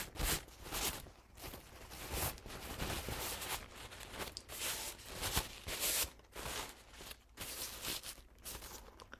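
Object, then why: Paper towel. A crumpled paper towel stained with pink, green and blue paint is pulled open and crinkled with fingertips close up. Dense, bright crackling bursts rise and fall in irregular waves, with short crunchy peaks over a faint low hum.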